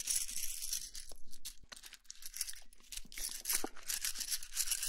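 A handful of thin, solid wooden sticks, some painted red and some natural, is held and rolled between both palms and fingertips so the sticks rub and click against each other. The result is a soft, bright, hissy scraping in uneven bursts, with sharp dry clicks scattered throughout.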